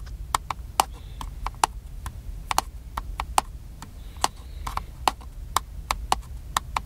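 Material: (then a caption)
Plastic. Fingertips tap the top of a small black hollow plastic handheld camcorder held in one hand, making 23 short, sharp clicky taps with a hollow knock around 830 Hz at an uneven rhythm. Each tap dies almost instantly over a faint low rumble, with no talking.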